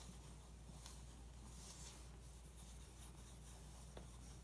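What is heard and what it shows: A pencil tip traces across the glossy paper page of an open magazine lying on carpet, making quiet, steady scratching strokes. The soft rasp has a bright, hissy texture over a constant low hum, with a couple of sharper ticks where the tip catches.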